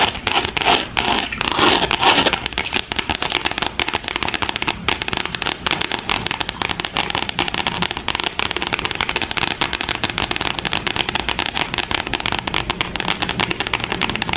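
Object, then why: Glitter-coated cardstock notebook cover. Long acrylic French-tip nails on both hands scratch and tap a gold glitter cardstock cover of a spiral notebook, lying flat and thin over the pages. A dense, bright crackling and scratching runs continuously, with rapid tiny taps. It is slightly louder and coarser in the first couple of seconds, then settles into a steady, even texture.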